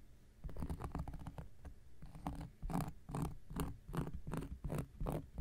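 A round, flat, solid cork coaster is scratched with the tip of an X-Acto knife blade. The result is a run of short, dry, rasping strokes with a dull low body and faint bright edges, repeating at an uneven pace.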